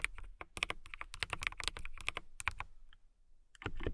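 A transparent acrylic mechanical keyboard with clear plastic keycaps and RGB lighting is typed on quickly by fingertips with long nails. Dense, bright clicking keystrokes come in rapid bursts, pause briefly near the end, then resume.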